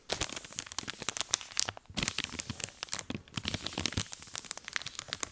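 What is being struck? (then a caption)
Soft plastic wet wipes packet. A hand-sized blue soft-plastic packet of fragrance-free baby wipes, filled with wipes, is held in one hand and squeezed and crinkled with the fingertips close to the mic. It makes dense, bright crinkling and sharp crackles with little low end, with a brief lull just before the two-second mark before the crinkling resumes.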